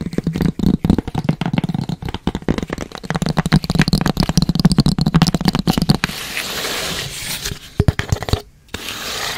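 A long, narrow, hollow tan cardboard box, held horizontally, is tapped and scratched with long red acrylic nails and fingertips. For about six seconds it gives a dense run of quick, dry, hollow taps with a low body. The clip then turns to a steadier, brighter scratching and rubbing, with a brief pause near the end.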